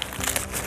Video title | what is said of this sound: Нивка. Сезон 3. Випуск 8 | вот листик ломаешь, он хрустит